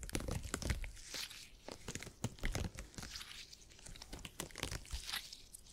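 A folded piece of purple gel grid cushion made of hyper-elastic polymer is squeezed and pressed with the fingertips. It gives a dense run of soft crunching, crinkling and tearing-like squelches, with low thuds and brief bright crackles that die away quickly.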